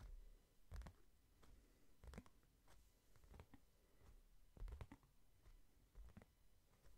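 A hardcover book held in one hand is tapped on its cover with the thumb and fingertips. The result is soft, dull, low thuds at an uneven, sometimes quick pace, each dying away almost at once, with faint brushing scratches between them.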